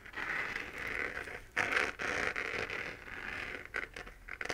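Long nails scratch the textured surface of a hollow, pink-lit 3D-printed plastic moon lamp held in both hands. The result is dry, rasping scratches concentrated in the upper mids, coming in uneven strokes with brief pauses. A louder, brighter burst comes just before the two-second mark, and the clip ends in quicker, lighter scrapes.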